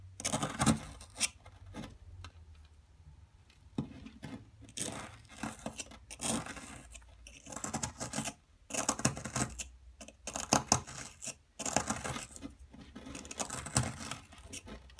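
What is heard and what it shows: A wooden-handled metal chisel scratches and chips into a partly dug, solid blue plaster excavation block held in one hand, leaving blue powder and small chunks around it. Dry, gritty scraping and tearing-like crumbles come in uneven bursts with short pauses between them, with bright, high grit over a low thump.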